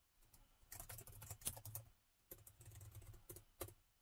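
Fingertips of both hands type on the plastic keys of a gold metal laptop keyboard, producing steady, short, bright key taps with a low thud under them. The typing comes in two bursts separated by a brief pause, with a few sharper clacks standing out.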